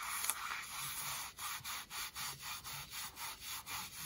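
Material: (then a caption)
Denim. Long nails scratch the fabric and seam of distressed denim jeans worn on the thigh. A quiet, continuous dry rasp gives way to a steady run of short back-and-forth strokes, each a bright, hissy scrape with little low end.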